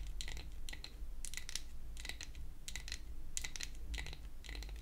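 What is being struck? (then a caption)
Painted wooden toy hair dryer. Long acrylic nail tips tap rapidly on a pink-painted wooden toy hair dryer, a solid flat piece of wood held upright. The taps come in quick, bright, clicky clusters with a dry, short ring and a tone around 2 kHz. A steady low hum runs underneath.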